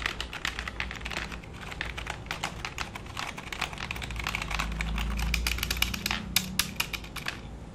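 Fingertips and short nails type and tap on the keys of a black full-size plastic computer keyboard resting flat on a lap. The result is a fast, irregular stream of short, bright plastic clicks over a steady low hum, with a few sharper, louder taps near the end.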